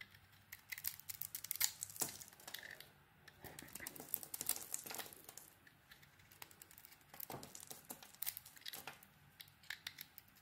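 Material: Soap.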